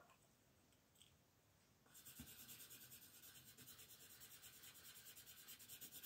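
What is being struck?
Colored pencil on a paper coloring page.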